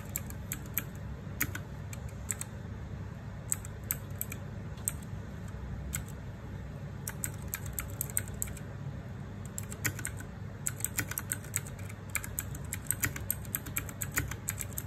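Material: Plastic.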